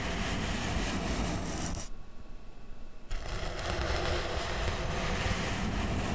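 A soft makeup brush rubs and sweeps across the textured surface of a flat brown corrugated cardboard sheet held above the microphone. The result is a steady, grainy brushing hiss with a strong low rumble and a bright airy top. It briefly softens to a duller, muffled scratching around the two-to-three-second mark before the full sweeping resumes.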